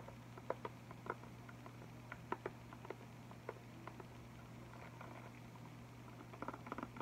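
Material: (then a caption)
Plastic, cardboard. Fingertips lightly tap an Arteza packaging box of 16 liquid chalk markers, about 20 cm wide, with a clear plastic top section and a printed cardboard front, full of markers and held up in both hands. Soft, dry, short clicks and pats come in scattered bursts, closer together at the end, over a steady low hum.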